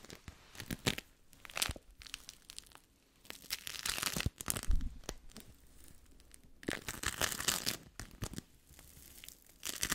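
A yellow ball of sticky bead foam is squeezed and pinched with fingertips and long nails. It gives off bursts of dense, bright crackling and tearing-like crinkles, with quieter gaps in between and a faint low rumble underneath.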